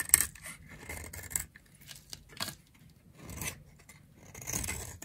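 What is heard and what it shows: A utility knife blade shaves a solid, dry, round pink bar of soap held in the palm, peeling off fine curls. The clip has quiet, dry, bright scraping strokes with a crisp rasping edge and short pauses between passes, and no ringing after each cut.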